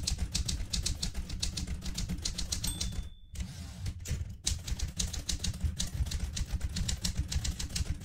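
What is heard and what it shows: Long red-nailed fingertips type steadily on a vintage manual typewriter with a metal body, plastic keys and paper in the carriage, producing a rapid run of heavy, low-weighted key strikes with bright clacking edges. About three seconds in, a thin steady tone sounds briefly before a short near-silent pause, and then the typing resumes at the same pace to the end.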